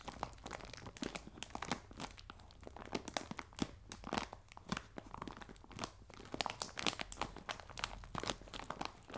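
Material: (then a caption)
Plastic film. A clear plastic bag full of biscuits on a table is scratched and crinkled by fingernails. The clip is a steady run of quiet, dry crinkles and short crisp scratches with bright hiss on top. Soft rustling fills the gaps between them.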